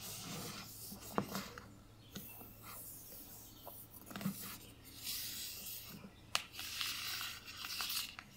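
Long painted nails and fingertips rub and scratch the front and back covers of a solid, closed hardcover book held in both hands, its glossy teal paper dust jacket marked with foil print. The result is a dry, bright, papery rasp with soft swishing strokes, broken by several sharp, clicky nail ticks that die away almost at once.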